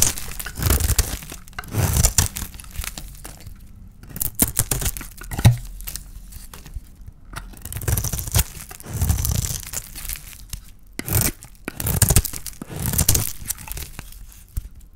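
A palm-sized solid oval bar of dry white soap with a pink painted shell is held in the hand and shaved with a small metal blade. The result is a series of dry, crisp scraping and crumbling strokes with a low, thumpy body and bright, papery edges, separated by short quiet gaps.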